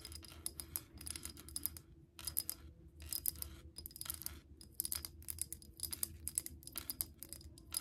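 Long nails tap and scratch a clear, bubble-shaped glass pump soap dispenser bottle, partly filled with green liquid, as it is held and then set on the table. Quick, dry, bright clicks and scrapes come in rapid bursts with short pauses between them, each sharp tick fading almost instantly over a low, steady hum.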